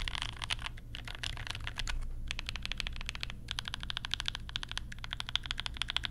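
Fingertips type steadily on a compact mechanical keyboard with Banana Splits switches and pastel plastic keycaps, using one or both hands. Quick, crisp clacks with a bright, high edge come in fast bursts with brief pauses, over a steady low hum.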